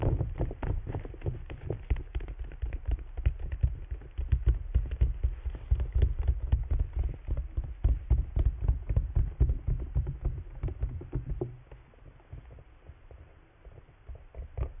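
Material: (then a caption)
PVC plastic. Fingertips tap and nails scratch near the top of a large clear PVC bubble umbrella, its thin, hollow, transparent plastic dome canopy wet with droplets. The result is a dense, irregular patter of short, dull, low thumps with almost no ring, like rain drumming on the canopy. The tapping softens over the last few seconds.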